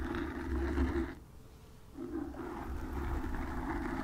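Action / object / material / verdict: scrape / foam microphone windscreen / foam / none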